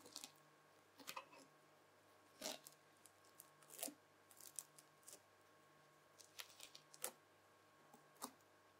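A white plastic fork presses and drags through a lump of red bubbly slime. The result is irregular, bright crackling and crunchy popping bursts with short squishy pauses between them. A faint steady hum sits underneath.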